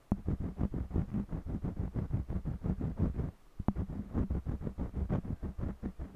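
A purple jumbo wax crayon colors along the right edge of a small stretched cotton canvas with a scratching rub. Quick back-and-forth strokes give a steady, low, dull scraping rhythm with a brief pause midway.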